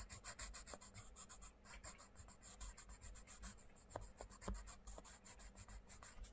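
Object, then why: Wooden coloured pencil on a paper page. A wooden coloured pencil scratches and rubs over the paper page of an open paperback colouring book lying flat, while the other hand steadies the book. Quick, rhythmic bursts of bright, raspy scratching repeat steadily over a low, muffled rumble. The strokes have a couple of sharper ticks near the end.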